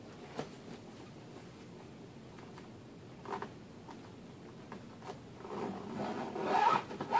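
A hand drags the metal zipper pull around the lid and pocket seams of a large, closed, hollow black fabric suitcase. Quiet scattered ticks and short zipping rasps lead into a louder, longer, bright zipping run near the end.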